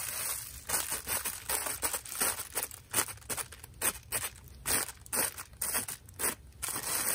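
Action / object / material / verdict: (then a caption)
tap / thin plastic carrier bag / plastic film / none. A brown, thin plastic carrier bag with red print, partly inflated and bunched in one hand, is tapped and squeezed by fingertips with long nails. It gives a quick run of bright, dry crinkles and crackles in short bursts, over a faint high hiss.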